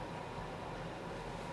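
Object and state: Nothing is struck.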